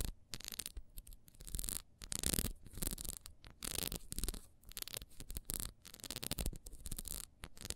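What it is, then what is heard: Ribbed wax beehive candle. A small, solid orange wax candle with a ribbed beehive shape is held and turned in the hands while long almond-shaped nails scratch quickly along its ridges. The result is a run of fast, bright, dry scratching bursts separated by brief pauses, with soft handling rubs underneath.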